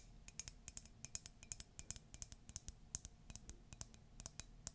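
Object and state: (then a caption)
Ceramic mug. A Disney ceramic mug is tapped rapidly and steadily. It gives bright, sharp clicks with very short, high ringing tones, over a faint low hum.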